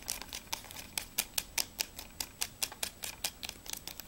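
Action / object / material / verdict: tap / plastic game case / plastic / none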